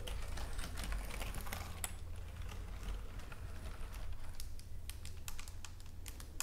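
Long nails and fingertips tap and type on the keys of a white plastic computer keyboard lying on a table. A steady run of quick, sharp clicks sits over a constant low hum.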